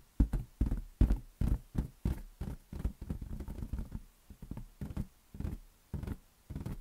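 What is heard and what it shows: A large inflated green latex balloon, hollow and resting on a palm, is tapped with the fingers. It gives a series of soft, dull, low thumps with a quick decay, arriving at an uneven pace and bunching into faster flurries in the middle before spacing out again.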